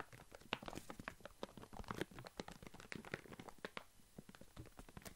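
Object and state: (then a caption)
Full plastic bag of walnuts. A full Alesto plastic foil bag of walnuts is held in the hand and crinkled, scratched and shaken with the fingers. The result is a dense run of quiet, sharp crinkling crackles and scratchy rustles with bright high edges, each snapping off almost instantly.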